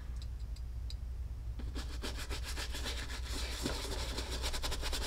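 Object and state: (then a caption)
Leather cowboy boot being brushed. A horsehair brush with a wooden handle, held in one hand, is stroked quickly back and forth across the toe and vamp of an empty tan leather Lucchese cowboy boot hanging on a wall mount. After a few faint ticks, brisk, bright, scratchy bristle swishes build and speed up over a steady low hum.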